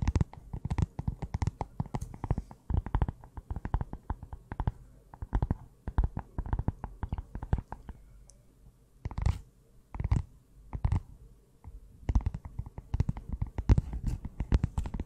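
A closed small pink notebook with a cardboard cover is held in both hands while long nails tap on the cover. The taps come in rapid, dense bursts of dull, low thuds and clicks, with brief pauses between clusters.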